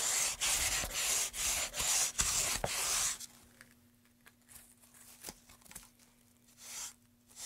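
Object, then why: Carved pine wooden tray. Gloved hands rub sandpaper back and forth along a long, solid, light-wood carved pine tray with a groove, surrounded by wood shavings. Brisk, bright, hissing scrapes repeat in quick succession for about three seconds. They then give way to quiet, sparse scratches and a couple of softer strokes near the end.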